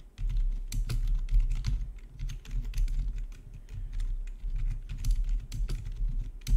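Fingertips type steadily on a full-size black plastic backlit RGB gaming keyboard with a hollow housing, resting on a marble surface. Quick, dry key taps and clacks run throughout over a low, deep hum, with bright tick transients on the sharper strikes.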